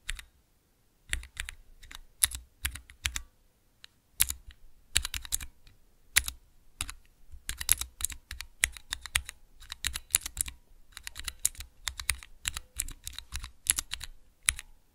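Fingertips press the keys of a small clear plastic 3x3 Cherry MX mechanical key switch tester, making quick bursts of bright, sharp clacks with a soft low thud under each press. The presses come in uneven runs separated by brief pauses, and each click dies away almost instantly.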